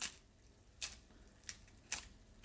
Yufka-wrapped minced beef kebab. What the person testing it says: ese sonido crujiente. ¿Escuchas ese sonido? Significa que lo cocinamos bien.